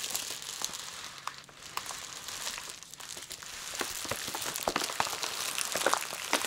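Long nails tap and palms press and rub a flat bundle of clear plastic bubble wrap holding a plush toy. A steady, bright crinkling hiss is heard, peppered with irregular sharp clicks and ticks, with almost no low end.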